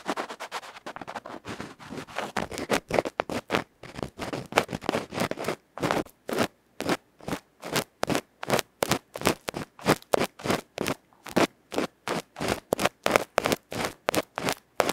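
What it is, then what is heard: Microphone capsule scratched with an ear pick. A bamboo ear pick scratches rapidly across the black felt face of a small, hollow aluminium electret microphone capsule held in the fingertips. Dense, fast scraping at first settles into regular, separate rough strokes, each a short, dry, crackly burst with a mid-range body around 550 Hz and a bright edge.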